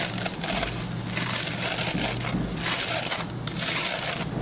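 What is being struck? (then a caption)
Plastic pin-bristle brush. Fingertips and short nails scratch and rub across the stubby plastic pin bristles of a hand-sized, oval white plastic brush with a solid body. Bright, hissy scratching comes in several sustained passes with brief pauses between them, over a faint steady low hum.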